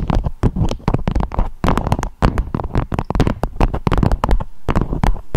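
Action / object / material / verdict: tap / beeswax-coated fabric wrap / waxed fabric / none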